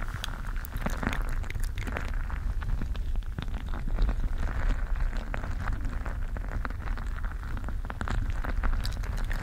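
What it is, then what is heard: Mesh gel bead stress ball. A colorful mesh gel bead squishy stress ball is squeezed with both hands close to the microphone. It makes a steady, low squishing rumble full of dense, rapid crackles and small pops as the beads shift against the mesh.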